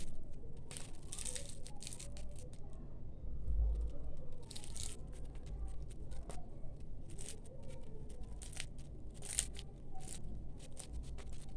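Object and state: Crispy baked layered pastry.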